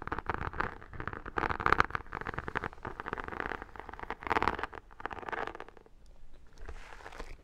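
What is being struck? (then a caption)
Vinyl-covered photo album. Long nails and fingertips scratch and tap across the textured cover of an iridescent, holographic, embossed vinyl-covered photo album that is held up. The result is a dense run of dry, crackly scratches and quick taps, centered in the mid range with bright edges. The sound eases briefly near the end before a final softer stretch of scratching.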